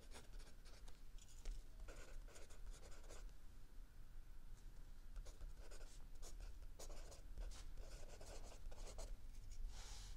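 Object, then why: Pencil graphite on paper notebook. A mechanical pencil scratches graphite across lined paper in a spiral notebook on a wooden desk, writing in steady handwriting strokes while the other hand rests on a book. Short bursts of dry, bright scratching come and go in quick strokes over a quiet, constant low hum.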